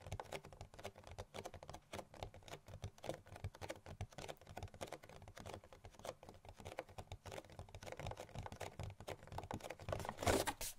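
Long nails tap fast on the front of a hollow printed cardboard gift box, making a dense run of quick, dry, papery clicks with a faint hollow knock. The taps keep a steady, busy rhythm and swell into a louder, brighter flurry near the end.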